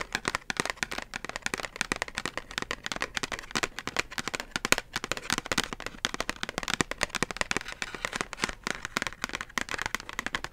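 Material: Cardboard.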